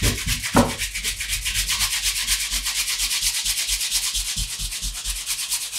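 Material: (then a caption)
Leather. A dark brown pebbled leather Allen Edmonds MacNeil wingtip shoe for Brooks Brothers, with a shoe tree inside and held in one hand, has its upper rubbed and polished with the bare palm and fingers of the other hand. The result is a steady, dry, bright swishing of skin on leather in loose strokes about twice per second, with one sharper, louder swipe near the start.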